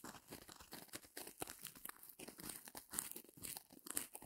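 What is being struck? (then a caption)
Porous foam block. A small white porous foam block with a sparkly surface is held over a fur rug and squeezed and scratched with long painted nails. It makes quiet, uneven bursts of bright crackling and crunching with short, tearing-like scrapes. Each sound stops almost at once, with no ring.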